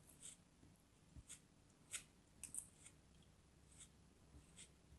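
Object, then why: Kinetic sand chunk cut with a metal knife. A small, solid blue chunk of kinetic sand is held in the fingers and carved with a pointed metal craft knife. The quiet, bright, crisp scrapes and cuts come as a scattered series of short, dry bursts over a faint low background rumble.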